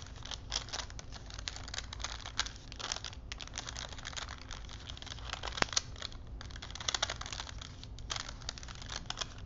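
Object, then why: Paper strip wound on wooden spools. Hands wind and rub a thin printed paper film strip stretched between two wooden dowel spools, making the paper crinkle. A continuous, bright, papery crackle and rustle runs throughout over a faint steady low hum, with a sharper snap of the paper just past the midpoint and louder crinkles near the end.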